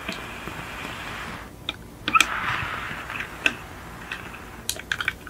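Long nails tap and scratch the roof and rear of a small yellow die-cast VW Beetle model car, a hollow metal body with plastic windows, resting on a white fluffy mat. Sharp, bright clicks and metallic taps mix with soft, hissing scratches that fade out almost at once.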